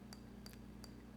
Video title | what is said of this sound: Grounding Technique using Orange Juice | a little bit of a higher note in the middle